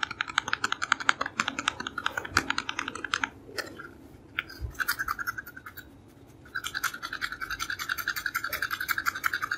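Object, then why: Small cardboard cosmetic box. Fingernails rub and scratch the printed face of a small, hollow cardboard creme bleach box, making rapid, dry, bright scratching strokes with a hollow tone. The scratching runs steadily, eases into a quieter stretch near the middle, then resumes just as quickly.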